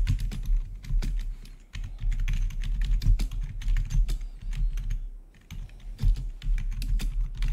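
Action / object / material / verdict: tap / plastic computer keyboard / plastic / none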